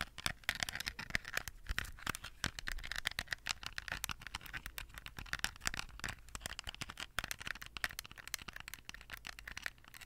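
Long nails tap rapidly on a small hollow plastic toy phone with a bejeweled case, held just above the microphone. The result is a dense stream of short, dry clicks with a bright, clattery tone centred near 1.8 kHz that die away almost instantly.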